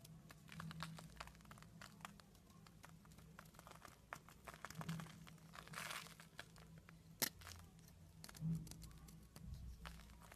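A solid purple soap bar held in the hand is scraped with a green-handled metal blade, shaving off curls and flakes. Many quick, dry, crinkly scraping and crunching strokes sound over a steady low hum, with a sharp crack near the middle.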